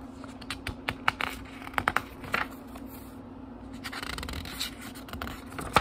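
Fingertips rub and turn the thin paper pages of a small, thick book, making a string of dry, scratchy rustles and sharp little snaps as pages flip. A quieter stretch of soft rubbing in the middle gives way to denser, brighter rustling toward the end, all over a faint steady low hum.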